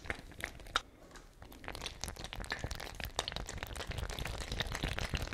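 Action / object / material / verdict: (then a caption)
shake / fabric ice bag with metal cap, containing water / fabric / none. A small patterned fabric ice bag with a metal screw cap, partly filled with water, is held by the cap and shaken and squeezed so the water sloshes inside. The sound is a dense run of soft crinkling, crackling ticks and wet sloshes over a low rumble, with a few sharper bright clicks. It grows busier and slightly louder toward the end.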